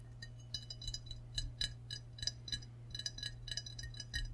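Short fingernail and fingertip taps on the glazed body of a medium, hollow, seemingly empty ceramic frog mug with a handle, held in both hands. Bright, clinking clicks with very short ring come in quick irregular clusters over a steady low hum.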